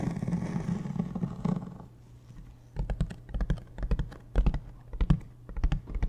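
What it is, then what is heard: Hard-shell plastic suitcase tapped with fingertips. A large beige hard-shell plastic suitcase, hollow and standing upright, is tapped with the fingertips near the zipper side. After about two seconds of low, steady rustling, dull hollow taps follow in irregular bursts, heavy in the low end with a short, quickly fading ring.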